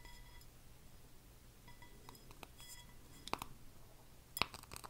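A medium red plaid-printed glass candle jar, filled with wax and lit, is held close to the mic and tapped with fingernails on the glass. Quiet, scattered taps give short, bright glassy clinks with a ring near 1 kHz, two of them sharper and louder, over a soft low background hum.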